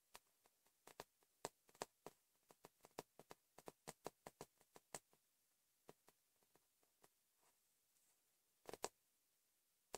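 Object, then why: Paper notepad with cardboard back. Fingertips and nails tap on the top sheet of a thick yellow paper notepad with a cardboard back, lying flat on a bed. The result is an irregular series of short, dry, crisp taps with little ring against a very quiet background. The taps are dense in the first five seconds, sparser after that, and end in a brief louder cluster near the end.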